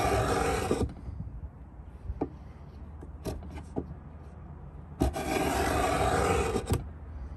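A steel Stanley 66 beading tool, held in both hands, is drawn lengthwise along the edge of a large hollow pine box. Two long, bright, rasping scrape strokes are heard, with a low woody body beneath them. Between the strokes there are a few faint ticks and taps against a quiet background.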